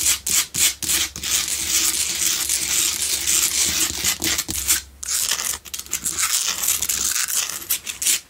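Long nails scratch the sides and front of a solid pink Himalayan salt double candle holder, making bright, raspy scratching in quick bursts and longer continuous strokes. A faint low hum sits in the background, and each scrape stops dead with almost no ring.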